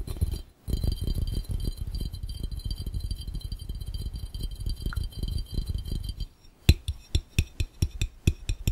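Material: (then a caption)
Glass. Fingertips tap rapidly on a clear, round, hollow, empty glass fishbowl placed over the lens, producing a dense run of dull, low, thumping taps with brief glassy clicks and a faint steady high tone behind them. After a short pause near the start, the fast tapping continues until about six seconds, then slows to about nine separate, sharper taps that stop quickly without ringing.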